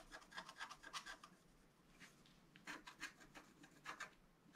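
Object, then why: Coated scratch art paper card scratched with a wooden stylus. A wooden stylus scratches fine lines into a flat black-coated scratch art card, about A4, resting on a table. Quiet, dry, rasping strokes come in quick bursts, pause briefly in the middle, then resume with bright, papery scrapes.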